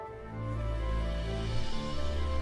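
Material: Nothing is struck.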